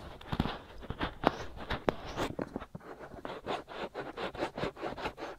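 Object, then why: Silicone ear shell of a binaural microphone. Both white silicone ear shells on a black binaural microphone are rubbed and scratched with the fingertips and nails of both hands. The result is a close, dry run of scratching and scraping strokes, with a few sharper taps early on and then a steady rhythmic scratching in the second half.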